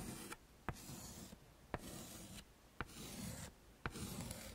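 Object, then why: Chalk stick on a wood-framed chalkboard. A yellow chalk stick is scraped across a small flat black chalkboard in a wooden frame, tracing letters. Bursts of dry, gritty scratching alternate with quieter pauses, each stroke marked by a sharp tap as the chalk meets the board, at a steady, unhurried pace.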